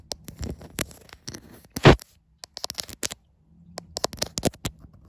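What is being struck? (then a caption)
Glass back panel of a smartphone. Long white acrylic nails tap and scratch the glass back panel and camera bump of a white iPhone, the same phone doing the recording. Quick, bright clicking taps mix with dry scratching, and a louder, longer scrape comes near the two-second mark. Brief pauses break up the tapping before it resumes in clusters.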